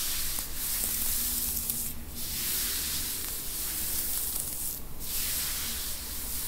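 Long, pointed teal acrylic nails on both hands scratch and rub a dark grey knit T-shirt, probably cotton, worn on a seated person's upper back and shoulders. A steady, bright, scratchy hiss rises and falls in soft strokes over a low rumble, with no distinct hits. The soft body underneath keeps the sound damped.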